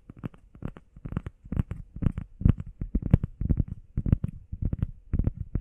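Long painted nails and fingertips rapidly tap and scratch a flat, solid, hand-sized grey textured EVA foam workout pad shaped like a heart. The result is a dense run of soft, dull, muffled thuds and brushy scrapes, mostly low and deadened with almost no ring.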